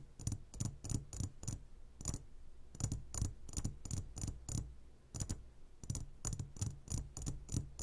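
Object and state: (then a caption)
Glass candy jar tapping. Fingertips and nails tap on the sides of a clear glass jar full of gummy candies. The taps come in quick, uneven bursts separated by short pauses, each a brief, dull low knock with a bright, clicky edge that dies away almost at once.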